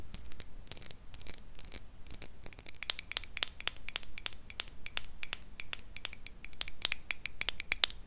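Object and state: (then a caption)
Small glass jar with metal lid. Long nails scratch and tap rapidly on a small, empty, hollow clear glass jar and its silver metal lid, held close to a mini microphone. The result is a dense run of sharp, bright clicks and short scratchy strokes that die away almost instantly, over a faint low hum.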